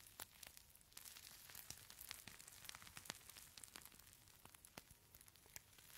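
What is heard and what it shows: A small, palm-size clear plastic pouch filled with purple beads is squeezed, crinkled and shaken by hand. It makes a quiet, bright, continuous crinkle and rustle, dotted with irregular sharp crackles and clicks, with very little low end.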